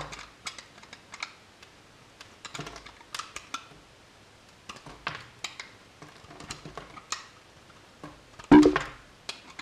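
A solid blue bar of soap, held in the hand, is shaved with a metal utility knife blade, and flakes fall onto the table. Many quick, dry, crisp scraping clicks come in irregular bursts, with a louder, fuller cut near the end.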